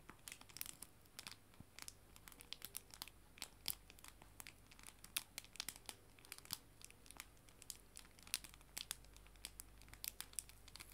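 A small clear plastic cellophane bag holding a stack of paper mini art prints is held up in both hands with dark painted nails and squeezed, giving quiet, steady bright crinkles in many short, crisp bursts. Faint white noise and a ticking clock sit underneath throughout.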